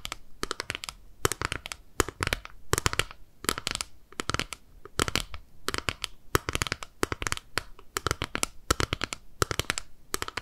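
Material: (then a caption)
Plastic. Long nails tap and scratch the lid of a small, flat, clear plastic eyeshadow compact held in both hands. Quick bursts of sharp, bright clicks and crackly scratches come in clusters separated by brief quiet gaps. Each tap dies away almost instantly.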